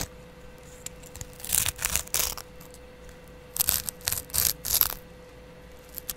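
A palm-sized kitchen sponge with a yellow foam layer and a green abrasive scrub pad is held in the hand while the green pad is scratched with a double edge razor blade and fingertips. Seven short, bright, rasping scratch bursts come in two groups, three and then four, with quiet gaps between them. A faint steady hum runs underneath throughout.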